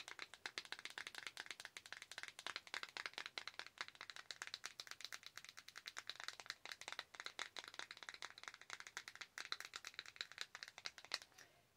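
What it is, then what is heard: Plastic compact. Long acrylic nails tap rapidly and steadily on a small, hollow clear and black plastic Mary Kay eyeshadow compact. The result is a dense stream of quick, dry clicks that are bright and crisp, with no low end and almost no ring after each tap.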